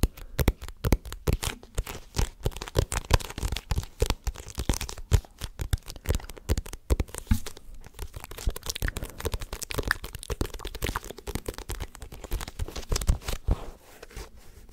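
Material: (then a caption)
Paper. Fingertips tap and scratch the printed glossy cover and spine of a paperback manga volume held close to the microphone. The result is a dense stream of quick, dry taps with low thumps and crinkly scratching, each sound stopping almost at once, easing off briefly near the end.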